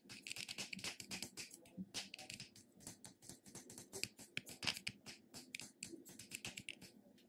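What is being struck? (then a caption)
Plastic cosmetic jar. A medium pink plastic cosmetic jar with an embossed plastic lid, held in one hand, is tapped and scratched on the lid top and sides with fingertips and nails. A quiet, rapid series of dry, bright clicks and scratchy rasps follows, each dying away almost at once, with very little low end.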